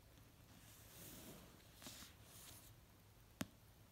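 A fingernail taps slowly on the cover of an orange paperback novel resting on a blanket. Quiet, soft, airy swells of hiss come first, then a single sharp, dry tap near the end that dies away almost instantly.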